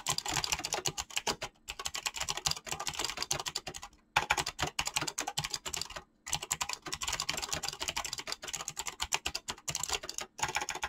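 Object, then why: Mechanical keyboard with PBT plastic keycaps. Fingertips type fast on a mechanical keyboard with clicky switches and PBT plastic keycaps. The result is a dense stream of bright, crisp clicks with very short decay, broken by brief pauses.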